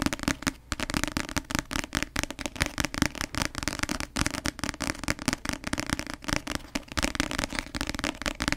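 Long nails tap fast on the glossy cover of a paperback novel, a solid block of paper held close. The result is a rapid, steady stream of crisp, dry clicks that stop dead with no ring, over a faint steady low tone.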